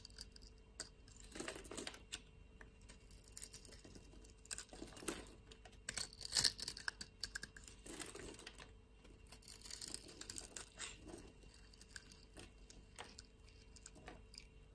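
A solid white soap bar held in the palm is shaved with a blade, scraping off scored flakes in quiet, crisp scraping and crumbling bursts. The sound is bright and dry, with short shaving passes and small flaky crackles that die away almost instantly.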